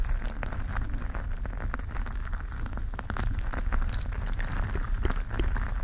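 A mesh stress ball filled with gel beads is squeezed and kneaded with fingers close to the microphone. It makes a steady, dense, low rumbling squish scattered with quick crackly pops and bright little clicks. The level stays fairly even throughout, with no distinct separate hits.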